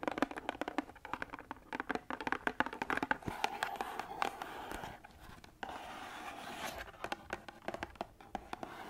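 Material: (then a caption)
Cardboard. Long acrylic nails tap and scratch the sides of a small, hollow, printed cardboard box of lemon, ginger and manuka honey tea held in hand. Quick, dry, sharp taps come in rapid bursts, broken by steadier stretches of papery scraping midway through. The sound is close and midrange with almost no low end and no ring after each tap.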